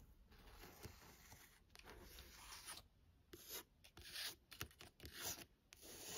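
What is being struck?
Paperback book with card cover.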